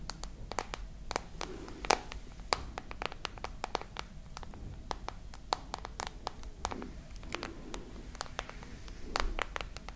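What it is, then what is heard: Glass and metal smartphone. Long nails tap and scratch the glass and metal frame of a glass and metal smartphone held horizontally. About 41 quick, sharp, bright clicks stop dead almost at once, over a soft scratchy rustle and a faint low rumble.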